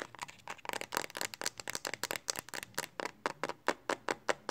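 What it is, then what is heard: Plastic phone case tapped with nails. Long fingernails tap quickly on the back of a smartphone in a pink hard plastic Speck case held in both hands. The result is a rapid run of about 22 sharp, dry plastic clicks with a bright tone around 1 kHz, almost no low end, and very short decay between taps.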